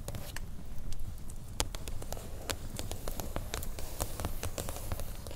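Long nails on both hands tap and scratch the blue cardboard cover of a large spiral watercolor pad lying on a table. Quick, dry, bright clicks and scratchy strokes patter in a steady, irregular stream over a soft, low background rumble.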